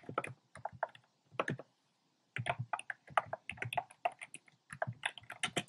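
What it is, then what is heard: Plastic mechanical keyboard being typed on. Fingertips with short painted nails type on a compact plastic mechanical keyboard with a black plastic case and round pink, red and cream plastic keycaps. The hollow keys give quick, clacky keystrokes in uneven bursts, with a pause of about a second partway through. Each click is short and dry, with a bright top.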